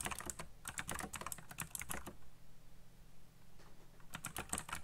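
Fingertips type fast on a backlit black plastic mechanical keyboard with RGB lighting and hollow key switches, giving quick bursts of bright, clacky keystrokes. The typing pauses for about two seconds in the middle, leaving a low steady hum, then resumes.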